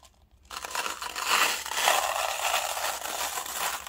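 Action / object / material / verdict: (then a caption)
shake / plastic cup holding small steel balls / plastic, steel / none. A small, clear, hollow plastic paint cup, partly filled with small silver steel balls, is held between the fingertips and swirled and shaken. After a brief quiet moment, a dense, continuous bright rattle and rolling clatter begins as the balls tumble around inside. It carries on steadily, with slight swells, to the end.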